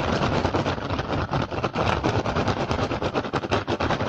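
Fingertips and short nails of both hands tap and scratch fast across the weave of an upturned, hollow, empty woven rattan basket. The result is a dense, continuous clatter of rapid dry taps over a steady scratchy crackle, with a low hollow thump underneath.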